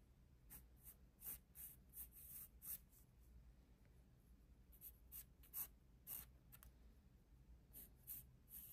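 A black pencil held in the fingers scratches lines across the page of an open paper sketchbook resting on a desk. The quiet clip has short, bright, papery scratching strokes in uneven bursts with pauses between them. A steady low hum stays underneath throughout.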